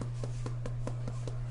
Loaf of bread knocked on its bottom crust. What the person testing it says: give it a knock and if it sounds Hollow that means it's right